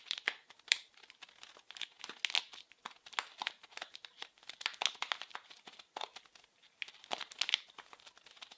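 A small blue printed plastic-film wrapped package is crinkled and scratched with fingers. Dense bursts of crisp crackling and scratchy rustle come in quick clusters, bright and airy with almost no low end, and peak around 3.5 kHz. Each crackle stops dry with no ring.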